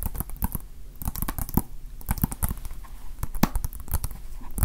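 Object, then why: Small plastic game case with paper insert. A small hollow plastic Nintendo Switch game case with a paper cover insert is held in the hands and tapped with fingertips and nails. A rapid, irregular run of short, dry clicks and taps with a faint crinkly, scratchy texture is heard, each tap dying away almost at once.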